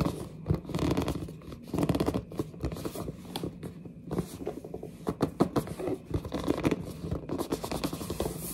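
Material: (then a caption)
Cardboard. Long dark nails grip and scratch the front and top edge of a large, hollow, glossy printed cardboard headset box. The result is a steady run of dry, squeaky scrapes and scratches with a hollow, boxy body and a little brighter crackle on top. Each scrape is short, cutting off almost at once with no ring.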